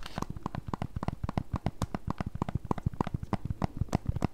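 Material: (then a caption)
Plastic. Long nails tap and scratch across a pink Switch Lite in a small, solid hard plastic case, held in both hands, working over the case surface and the buttons area. About thirty quick, irregular taps come through as dull, low clicks with no ring, over a soft scratchy rustle.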